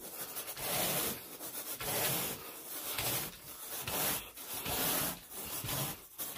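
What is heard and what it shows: A carpet groomer rake with a long wooden handle and a teal plastic head is dragged in raking strokes through wall-to-wall green pile carpet on a bedroom floor. Each stroke makes a bright, hissing, scratchy rub that swells and fades, repeating roughly once a second.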